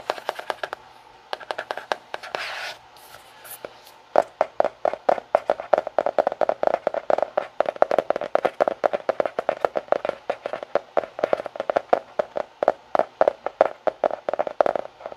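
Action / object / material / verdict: tap / fabric-covered hardcover notebook / cloth, board / none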